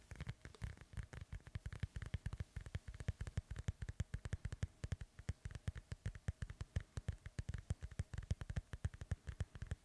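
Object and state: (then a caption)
Synthetic leather soccer ball, fingertip tapping. Rapid fingertip and nail tapping and scratching on the cover of a hollow, inflated synthetic leather soccer ball held beside the mic. The steady stream of quick, dull, low thumps stops almost instantly after each hit, with a faint, bright scratchy rustle between them, all at a soft level.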